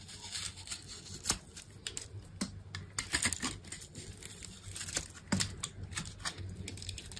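A solid green soap bar with a red coating on its edges, held in the hand, is scored in a grid and carved into cubes with a small metal knife with an orange handle, while other soaps lie untouched nearby. Dry, crisp crackling and scraping cuts mix with sharp bright clicks and snaps over a quiet low hum.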